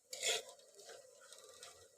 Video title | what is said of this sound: Fish 🐠 vankaya tomato recipe 👌 subscribe to my channel like share 🙏🙏 | sound వస్తుంది ఇది టక్ టక్ అని, అప్పుడు మనము తీసేసుకోవాలి